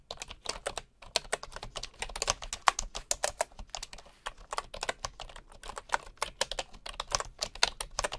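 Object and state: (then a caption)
Bamboo computer keyboard. Fingertips of one hand type on a bamboo computer keyboard with wooden keycaps and a hollow housing, a wooden mouse sitting untouched beside it. Quick, dry, bright taps with almost no ring follow one another steadily, with brief pauses near one second and four seconds.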